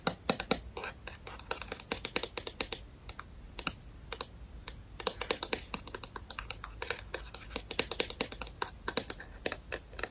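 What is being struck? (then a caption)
Small plastic light remote. A small round white-and-grey plastic IKEA smart light remote is held in the hands and tapped and scratched with long painted nails. Rapid, crisp, dry clicks come in an uneven stream, bright and with no ring, over a faint scratchy hiss.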